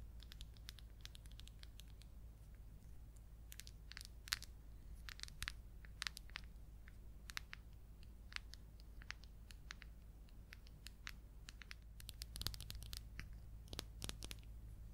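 A small, round, white plastic tub of zinc ointment, filled and lidded, has its lid and sides tapped and scratched with long coral nails. Quick, bright clicks and crisp scratching come in scattered bursts over a steady low hum. Each tap dies away almost instantly, and the whole clip stays quiet.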